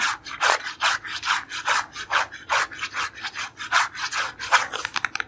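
Fingernails rub and scratch across the printed face of a small, hollow cardboard creme bleach box. A steady run of dry, rasping strokes sounds at roughly two per second, with most energy in the midrange and a bright hiss above it. The clip ends with a few quick, sharp scratches.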